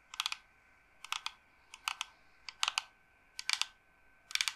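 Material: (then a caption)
Wood. Long painted nails tap and scratch a dark, carved wooden incense box with a pierced pattern, long and hollow, held upright in the hand. Six short bursts of quick, dry clicks sound about every second, each a cluster of rapid taps. The clicks are crisp and bright, with no low end and almost no ring.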